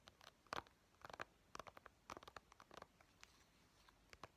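A small, hollow white plastic Nintendo 3DS game case for Pokemon Sun is held in the hands while its cover and edges are tapped quickly with painted fingernails. The result is quiet, irregular clusters of crisp, clicky taps centered near 1 kHz, each dying away almost instantly with no ring.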